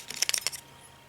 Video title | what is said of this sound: Chinese Speedometer Dismantling Video | there's a space inside here where this has room to flap around in there